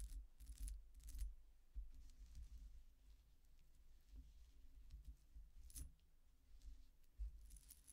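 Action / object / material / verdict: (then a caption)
shake / metal coin-disc necklace with chains / metal / none. A silver-coloured metal coin-disc statement necklace with chains is lifted from the table by its chain and held up, and hands shake it. Its thin metal discs jingle and clink together in short, bright bursts over a low rumble.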